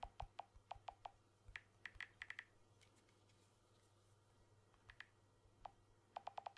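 Fingertips tap the glass back of a blue smartphone with an aluminium frame, held close to the mic, making about 21 short, dry clicks in bursts. Some taps sound lower, around 770 Hz, and others sound higher, near 2 kHz. A quiet pause falls in the middle before the tapping picks up again.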